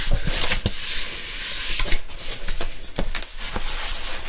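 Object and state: Cardboard LP album sleeve.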